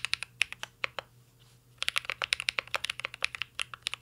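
Fingertips type continuously on a mint-green Cyberboard R3 mechanical keyboard with plastic keycaps and an aluminum case. About 27 short, bright, high-pitched clacks sound, with a brief pause near the first second before the typing resumes at a quicker pace.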